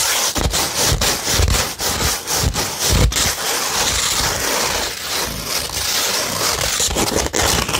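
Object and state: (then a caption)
Coarse sandpaper sheet being scratched. A beige 100-grit sandpaper sheet is scratched and rubbed with long red nails and fingertips, giving a continuous gritty, bright rasping. Quick strokes come through as repeated short scrapes over a steady hiss, with low thumps underneath.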